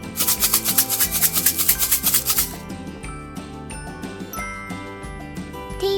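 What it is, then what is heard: Rice-filled plastic bottle rattle. A small empty plastic yogurt bottle, filled about one-third with rice and sealed with tape, is shaken in quick bursts for about two and a half seconds. The rice gives a bright, crunching rattle, with about ten distinct shakes. The shaking then stops while soft background music carries on.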